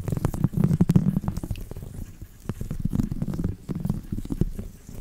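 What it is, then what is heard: Woven seagrass coaster scratched. A thin copper-coloured stick scratches across the woven rope surface of a round, flat, coiled seagrass coaster held up by hand. The result is a low, dense, rumbling scrape peppered with quick dry clicks, coming in two bursts with a quieter lull in between.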